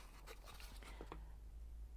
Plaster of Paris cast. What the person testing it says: you can tell that because it sounds hard when you tap it